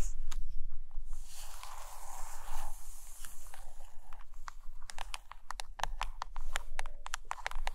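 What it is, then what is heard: Hardcover book with laminated cover tapped and scratched with nails. Long acrylic nails tap and scratch on the front cover of a closed, thick hardcover book with a glossy laminated photo cover lying on a carpet. Soft scratchy rustling with a brief brighter swish gives way to a quick, irregular run of short, dry clicking taps.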